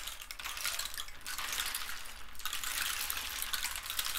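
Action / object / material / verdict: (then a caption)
shake / dried cactus rainstick filled with seeds or pebbles / cactus wood / none. A long, hollow rainstick made from a dried cactus skeleton with spotted holes and filled with loose seeds or pebbles is held in both hands, slowly tilted, turned and raised overhead so the filling trickles through. It gives a steady, bright, rain-like patter and hiss that briefly thins twice as the stick is turned, then continues at an even level to the end.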